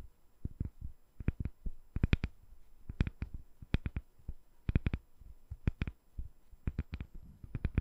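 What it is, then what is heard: Glycerin soap bar tapped with fingernails. A palm-sized, solid, translucent glycerin soap bar with colorful soap balls set inside is held in one hand over the microphone and tapped with long dark-painted nails. Quick clusters of soft, dull, low thuds carry faint bright clicks on top, each dying away almost instantly. The result is a quiet, irregular run of close-up tapping.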